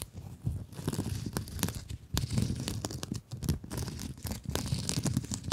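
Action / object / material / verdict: scrape / plastic mesh scrub sponge / plastic mesh / none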